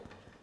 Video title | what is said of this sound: Food Preparation Techniques Yeast Cookery | if it sounds Hollow then you know that the bread is cooked